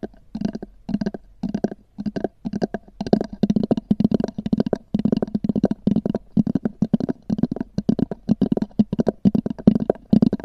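Long nails tap and scratch quickly on a small, hollow, black oval hard-shell EVA zip case with a textured fabric cover. The result is clustered bursts of short, dry clicks with a hollow, low body tone around 210 Hz and faint scratchy rasps, each tap dying away almost instantly.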